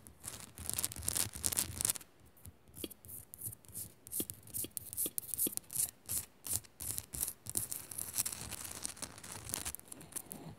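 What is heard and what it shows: Long nails on both hands quickly scratch the rough faces of a hand-sized solid pink Himalayan salt crystal lamp. A dense, bright, gritty rasping fills the first two seconds, then breaks into short, irregular bursts of scratching mixed with sharp, dry taps that die away almost instantly.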